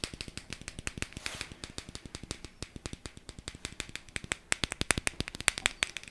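A small, hollow, round teal plastic jar with a lid is held and handled with the fingertips, then tapped and shaken. The result is a rapid, steady run of short, dry, bright clicking taps with a light rattle. The taps grow a little sharper and louder toward the end.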